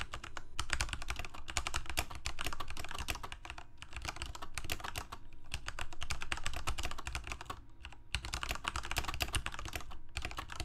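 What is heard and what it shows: Fingertips of both hands rapidly type on a full-size Corsair mechanical keyboard with plastic keycaps on mechanical switches, a hollow plastic case and a blue backlight, resting on a desk. The result is a dense stream of short, bright clacks over a hollow, low thud, broken by a few brief pauses.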